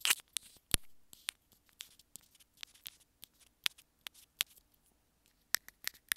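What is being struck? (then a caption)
Plastic earphone inline remote. Long nails tap and scratch the hollow housing of a small white plastic earphone inline remote. Fifteen quiet, sharp, bright clicks come at uneven intervals, with faint scratchy scrapes between them. Each click dies away almost at once with no ring.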